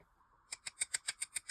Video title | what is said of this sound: Low Odor Dip Liquid Demo - NEW from Kande Dips | so I'm showing you here just tapping the nail so you can hear how hard that dip top coat is